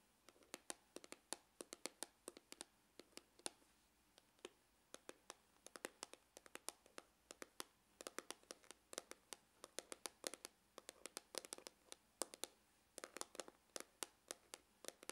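Glitter fingernails tap and scratch near the seam on the side and end of a dark, grained faux-leather hard glasses case, which is hollow. Quiet, rapid, irregular taps sound as dry, bright clicks with a slight hollow knock around 520 Hz, each stopping instantly with no ring. There is almost no low end.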